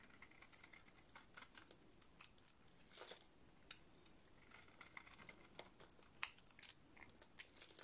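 A hand-sized bar of solid white dry soap with a black painted coating dotted in blue is shaved with a metal utility-knife blade, peeling off flaky white curls. Quiet, bright, dry crackling and crisp scraping come in a rapid irregular series of short bursts, with a longer, louder scrape around the third second and a few sharp snaps near the end.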